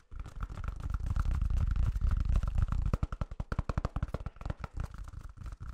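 A large white toilet paper roll with a hollow core is tapped and scratched with fingertips and nails on its flat end and sides. A dense, muffled scratching and drumming comes first, then gives way to quick, irregular, dull low taps that stop short with no ring.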